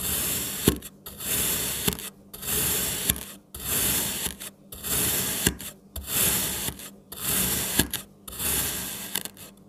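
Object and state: Kinetic sand cut with a knife.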